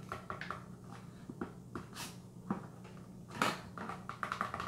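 Fingernails tap and scratch the back of a small, hollow Vitron-C iron supplement box made of cardboard. The sound is a quiet, irregular run of soft, hollow papery knocks with brief bright scratches between them, each fading almost at once, over a faint steady low hum.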